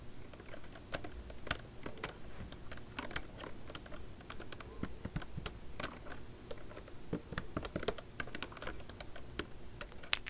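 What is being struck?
Plastic laptop keyboard keys tapped with long nails.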